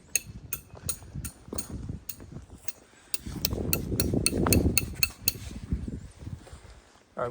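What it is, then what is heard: Ringing rock boulder struck with metal. A diabase rock boulder that rings normally is tapped with metal objects instead of a hammer, giving 16 sharp, bright, metallic clinks at an uneven pace. The high ringing tones die away quickly over a low background rumble that swells in the middle of the clip.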